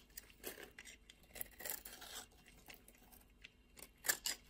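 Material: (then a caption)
Soap. A utility knife blade scrapes and shaves the dry surface of a solid beige bar of soap held in the hand, peeling off thin curls. Quiet, crisp, bright rasping strokes come in short bursts with almost no low end, and the loudest scrapes fall near the end.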